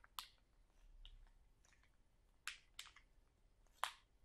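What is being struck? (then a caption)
Sealed plastic bag of sauerkraut. A full, sealed plastic sauerkraut package is lifted slightly and squeezed while fingernails scratch and crinkle its plastic film. Four sharp, bright crackles stand out against quiet, soft rustling between them.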